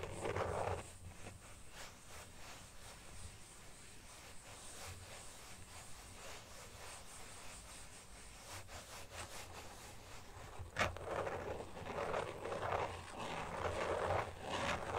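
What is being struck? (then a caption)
Carbon fibre phone case. A thin carbon fibre weave phone case lies flat while a flat hand rubs its back, making a soft, steady brushing hiss. Then the fingertips tap and scratch it, adding a sharp click and brighter, rougher scratching bursts toward the end.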